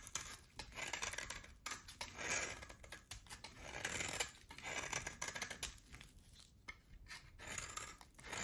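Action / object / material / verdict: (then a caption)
scrape / hard bar of soap cut with a blade / soap / none. A utility knife blade cuts a solid oval bar of hard soap, pale at the core with a black rim, into chunks. The result is quiet, bright, crisp scraping and crunching in repeated short bursts, with very little low end.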